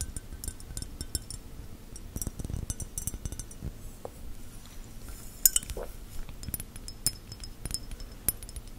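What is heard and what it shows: A textured, bubbly glass is tapped with gel fingernails, giving a quick series of light, bright clinks and chinks. Each tap dies away almost at once, over a soft low rumble.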